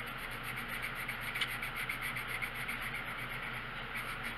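The tip of a green colored pencil rubs across a thin paper page of a coloring book lying flat on a wooden table, coloring in quick, repeated strokes. A steady, bright, scratchy rubbing pulses at about four strokes per second with a slightly uneven rhythm, over a faint low hum.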